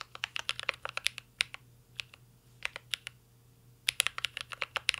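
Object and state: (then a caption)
Mechanical keyboard being typed on. Two hands type steadily with their fingertips on a full-size mint-green Cyberboard R3 mechanical keyboard resting on a desk. The keyboard has a metal case, plastic keycaps and Holy Panda switches. Sharp, bright clacks land in quick bursts with a short pause in the middle, each keystroke dying away almost instantly over a faint low hum.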